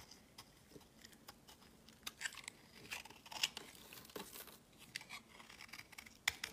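A palm-sized solid white bar of soap, held in the hand, is scraped with a utility-knife blade, shaving off powdery flakes. It makes quiet, dry, crisp scratching and crumbly crackles, bright and high, with irregular sharp clicks and short rasping strokes throughout.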